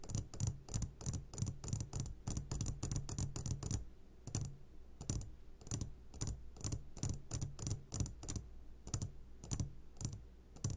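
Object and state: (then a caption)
Glass jar of gummy candies. A medium glass jar, turned upside down and full of sugared gummy candies, is tapped on its sides with the short fingertips of both hands. Quick, dry taps come in dense bursts, each with a low thud and a bright glassy click that dies away almost at once. A steady low hum sits underneath, and a brief pause just before the 4-second mark breaks up the flurries.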